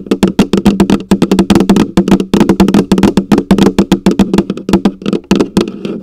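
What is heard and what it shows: Long acrylic nails rapidly tap and scratch the plastic lid on top of a large, hollow orange plastic coffee canister. Dozens of quick, uneven clicks each carry a hollow, low-pitched resonance around 195 Hz with a short ring, layered over bright, sharp nail scrapes.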